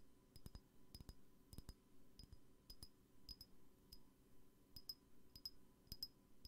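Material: Glass.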